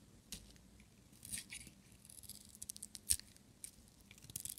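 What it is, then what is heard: Dry bar of soap being shaved. A small, solid, brown-and-white striped bar of dry soap, held in one hand, is shaved with a metal utility-knife blade, peeling off curls. Quiet, dry, bright scraping strokes and crisp crackles come in short bursts, with a sharper scrape near the three-second mark, each dying away almost instantly.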